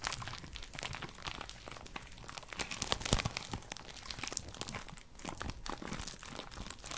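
Long purple nails tap and scratch the outer wall of a small, empty pink paper cup held in the hands close to the mic. The result is a steady stream of dense, crinkling, crunchy clicks and scrapes with a bright top, a little low body, and quick transients that die away almost at once.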